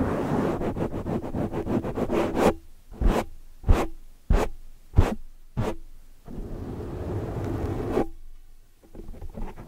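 Long, dark, metallic-painted nails grip, scratch and rub a large black foam windscreen over a microphone, with fingertips pressing around it. Rapid, dense, muffled scratching gives way to five separate sharp, boomy thumps. A stretch of steady, low rustling rubbing follows, then another thump and softer scratching.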